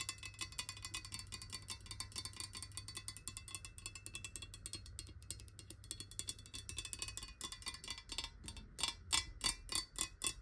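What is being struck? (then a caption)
Glass water bottle. Long nail tips tap a clear glass water bottle lying on its side in a fast, ticking rhythm. The taps make bright, short clicks with a high glassy ring around 3.4 kHz over a faint low hum. The tapping grows sparser and louder toward the end.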